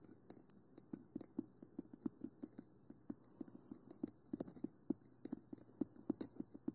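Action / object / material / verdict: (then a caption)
tap / plastic microphone body / plastic / none. Long nails and fingertips tap on the black, hollow plastic body and sides of a 3Dio Free Space binaural microphone with silicone ears. The result is a quiet, rapid, irregular series of dry clicks and soft knocks with a hollow low-mid tone. Each tap dies away almost instantly, with faint bright nail ticks on top.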